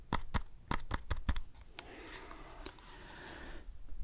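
Fingers tap a foam decorative pumpkin close up, giving a quick series of soft, low, dull thumps with almost no ring. The tapping gives way to a steadier, quieter scratchy rustle that fades out near the end.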